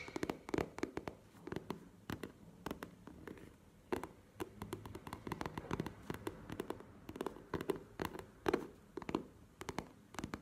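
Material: Faux leather.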